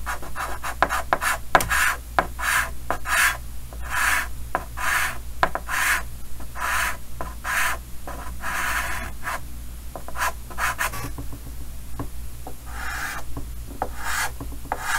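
A stick of chalk held in the fingers draws and scratches lines across a large, flat, solid painted chalkboard in a green wooden frame. Repeated short rasping strokes with a bright, scratchy texture come with sharp little taps where the chalk meets the board. A steady low hum sits underneath.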